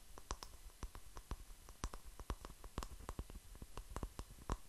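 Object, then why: Small speckled stone. Fingertips and nails tap and scratch the rough surface of a palm-sized, solid grey speckled stone held up close. A quiet, irregular string of short, dry clicks dies away almost instantly, each with a soft low thump and a faint bright tick.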